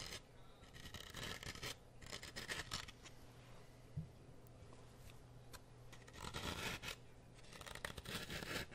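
A wooden toothpick repeatedly pokes and scratches into the surface of a solid grey floral foam brick held close to the mic. Many short, crunchy, bright scraping bursts come in clusters with quieter gaps between them, over a steady low hum.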